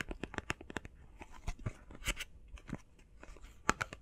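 Fast, irregular tapping on a face mask box made of plastic and cardboard gives short, dry clicks with a hollow low thump, some sharper and louder than others. Each tap dies away almost instantly, with faint crinkly rustling between them.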